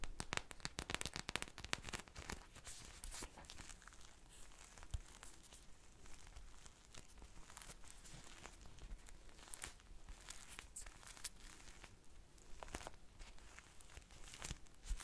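A small purple polyurethane foam ice cream squishy with a sprinkle-textured surface, made of solid soft foam, is held in both hands and scratched and squeezed with long nails. The result is a quiet, dense run of crackly scratching and crinkling with many sharp, short ticks, busiest in the first few seconds and again near the end.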